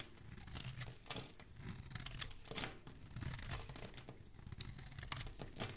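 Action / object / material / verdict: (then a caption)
scrape / bar of soap shaved with a thin blade / soap / none. A thin dark metal blade shaves a solid, hand-sized green Palmolive soap bar held in one hand, scraping off curls and flakes of soap. Heard is a run of crisp, bright scraping and crackling strokes with a soft low undertone, swelling and fading as each curl peels away.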